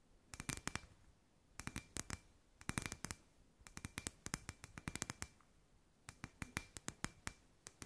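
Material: Glass.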